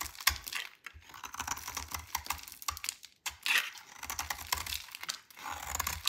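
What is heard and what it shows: A hand-held solid purple dry soap bar is shaved with a metal utility knife blade into curly flakes. The result is quick runs of dry, bright scraping and crackling, with short pauses between strokes.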